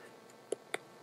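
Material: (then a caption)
Bone. A fillet knife taps on the bone inside a raw ham while the bone is being cut out, the blade running along it. Two short, dry clicks with a mid-pitched knock and no ring rise over a faint background hiss. The taps locate the bone and guide an angled cut along it.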